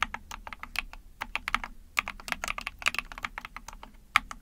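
Rapid typing on a small 44-key Epomaker TH40 backlit mechanical keyboard with an ABS plastic case, a PC plate and pink and white keycaps, pressed with long painted nails and fingertips. About 25 quick, bright clacks come in an uneven stream, each sharp and dry with almost no ring, with a few louder strikes standing out.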